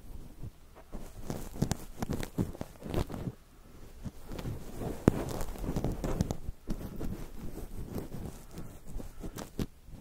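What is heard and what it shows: Fingertips of both hands press and rub a soft, fluffy cluster of white cotton wool balls covering a microphone. The result is a steady stream of close, muffled crackling rustles and soft thumping pops, mostly low in tone with little brightness.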